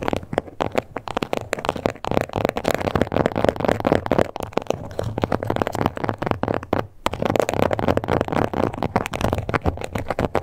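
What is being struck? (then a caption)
Textured leather card holder. Long nail tips rapidly scratch and tap across the surface of a small pink croc-embossed leather card holder. The result is a dense, dry stream of short, crackly clicks and rasps in the mid range, with a brief pause near the seven-second mark before the scratching and tapping resume.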